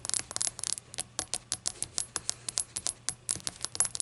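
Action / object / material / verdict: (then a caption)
tap / small glazed ceramic shot glass / glazed ceramic / none. A small hollow rainbow-glazed ceramic shot glass standing on a towel is tapped with long acrylic nails. The result is a quick run of bright, clicky ticks with a short ring that die away almost at once. A faint low hum sits underneath.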